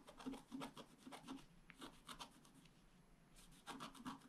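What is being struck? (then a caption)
Scratch art paper sheet scratched with a wooden stylus. A wooden stylus scratches a flat scratch art sheet, a black coating over a metallic layer, in repeated small strokes. Soft, dry rasping bursts come in quick runs, each with a faint low hum near 270 Hz and bright scratchy hiss. A quieter stretch in the middle holds only faint scraping before a final run of strokes.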